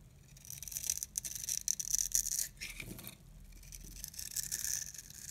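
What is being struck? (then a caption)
Bar of soap carved with a metal blade. A solid, hand-sized orange oval bar of dry soap held in the palm is scraped and carved with a metal box-cutter blade, shaving off cube-shaped crumbs. The sound is a dry, bright crunching and scraping, almost all high-pitched with a whistling edge, in uneven bursts that swell and fade with no ring.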